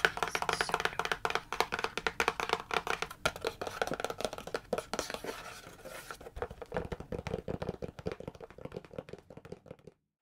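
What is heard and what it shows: Long manicured nails rapidly tap and scratch a medium-sized, hollow printed cardboard retail box for a Star Wars phone holder, held in one hand. The result is a dense stream of dry, hollow clicks mixed with scratchy rustling that grows slightly sparser and softer before stopping just before the end.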